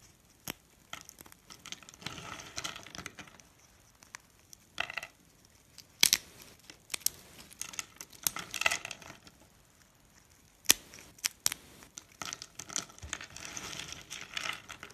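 Fingertips snap and crumble small, solid, ridged blue dry soap bars about finger length on a countertop into bits, then rub the pile. Sharp, bright snaps and dry crunches break out in bursts between quiet pauses, with a crackly crumbling texture as the pieces are ground together.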